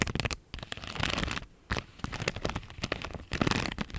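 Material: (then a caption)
Plastic. Long nails scratch across a thin clear plastic strip of pink flower rhinestone stickers held up in the air, producing dense, bright crackling clicks and scrapes. The bursts come in quick clusters with brief quiet gaps around half a second and one and a half seconds in.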